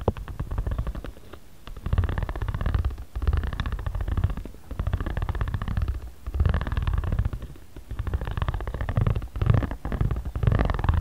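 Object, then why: Origami paper pad rolled with a ridged roller. A ridged jade roller is rubbed and rolled across the middle of a flat origami paper pad resting on a cutting mat. It makes a low, rumbling, purr-like texture of rapid ridged clicks that swells and fades with each back-and-forth stroke.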